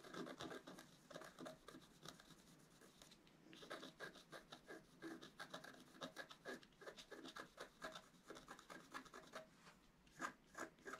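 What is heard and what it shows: A wooden stylus scratches and rubs the coating of a flat black-coated scratch art paper card, making a quiet run of short, dry scratching strokes. The strokes come in quick, irregular bursts with a brief lull just past three seconds, then resume with a few sharper, brighter scrapes near the end.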